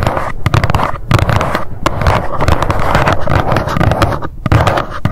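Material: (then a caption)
Cardboard. Long nails tap fast on the front panel of a small, hollow white cardboard box standing upright. The result is a dense, continuous run of quick clicky taps over a low, hollow thump, with short dips between bursts.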